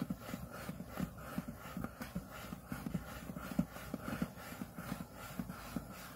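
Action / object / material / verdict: scrape / aluminium laptop display lid / aluminium / none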